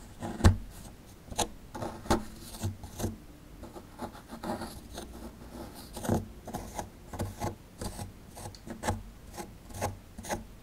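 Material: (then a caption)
Plaster. A small, solid plaster excavation block held in the hand is scraped with a metal pick tool. The result is a series of short, dry, rasping scrapes that come at an uneven pace over a quiet background. The scrapes are dull and low-weighted, with little ring after each stroke.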